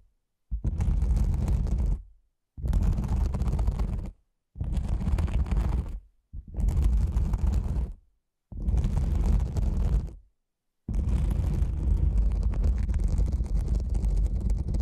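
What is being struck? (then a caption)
Nylon fabric lens pouch. Long nails scratch the top of a black, cylindrical nylon fabric lens pouch. Six separate bursts of dense, rough scratching are heard, each about 1.5 seconds with short silences between, and the last runs on longer to the end. The sound is dominated by a deep, rumbling low end.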